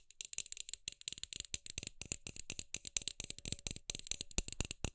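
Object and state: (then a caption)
Plastic LED light bulb. Long acrylic nails rapidly tap and scratch the hollow frosted plastic dome of a hand-sized LED light bulb held in both hands. The result is a dense, fast stream of dry, bright clicks and rattly scrapes with almost no ring.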